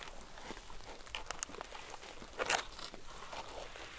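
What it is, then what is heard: Crinkled paper notebook. Long acrylic nails tap and scratch the black-and-white marbled cardboard cover and the edges of the many crinkled, wavy pages of a thick paper composition notebook lying on a cow-print mat. The result is quiet, dry crinkling and crunchy rustles with bright, sharp clicks that die away almost instantly. The loudest crackling burst comes just past the middle.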